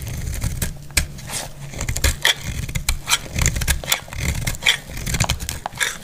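A solid, dry purple bar of soap is held in the hand and shaved with a utility blade, with other soaps lying untouched nearby. Quick, crisp scraping strokes come one after another, each a short bright rasp that dies away almost at once. A steady low rumble sits beneath them.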